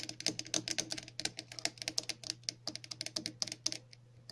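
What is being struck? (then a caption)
Hollow plastic cap. Long natural nails tap and scratch a large, hollow, hand-sized red plastic cap with a central hole and a ridged, textured side. A rapid, uneven run of sharp, bright clicks with very short decay sounds over a faint steady low hum.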